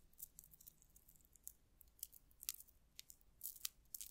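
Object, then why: Metal cup-chain tassel with rhinestones. A small dangling metal cup-chain tassel set with rhinestones and solid links is held by its top and stroked and jiggled with long acrylic nails close to a microphone. Quiet, bright rattling and scratching come in short, irregular bursts of high clinks that die away almost instantly, with very little low end.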